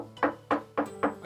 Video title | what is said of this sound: 【はじめてのチェロ選び】良いチェロの見極め方を徹底解説！#バイオリン #チェロ #Violoncello | If you tap it lightly with your finger and it makes a solid sound, there is no problem.